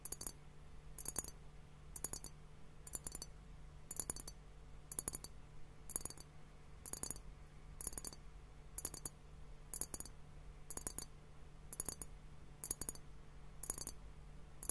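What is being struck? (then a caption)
Glass liquid hourglass timer. A fingertip and nail tap on both bulbs of a clear, hollow glass hourglass liquid timer filled with liquid and bubbles. Quick, bright glassy clicks come in small clusters about once a second, each dying away almost instantly. A steady low hum runs quietly underneath throughout.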